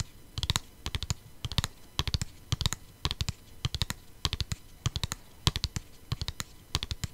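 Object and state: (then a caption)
Plastic CD case. Long painted nails tap and scratch a flat, hollow plastic CD jewel case in quick bursts of clicks. Each tap gives a sharp, bright click over a soft hollow thump, and the sound dies almost instantly between quiet pauses.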